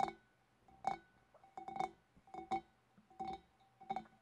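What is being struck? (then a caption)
Glass fish bowl. Long dark nails tap the upper body and neck of a large, clear, empty, hollow glass fish bowl with both hands, giving nine light, bright clinks in an irregular rhythm. Each tap brings out a faint glassy ring around 750 Hz that fades quickly into near silence.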